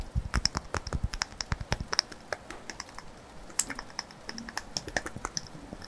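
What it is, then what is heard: Glass candle jar tapped. Fingertips and nails tap and scratch the glass sides of a small glass candle jar, filled with pink solid wax and topped with a metal lid, held in one hand. A quick, uneven run of short, crisp clicks with bright, glassy ticks comes over a soft low thump, with brief scratchy rustles between the taps.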